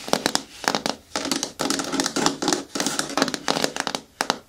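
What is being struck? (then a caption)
Hard plastic caddy bin with lid. Long nails tap on the walls of a hollow, hard green plastic caddy bin with a lid and grey handle, turned to face forward. Quick bursts of crisp, clicky taps with a faint hollow body alternate with longer stretches of bright, scratchy rasping across the plastic.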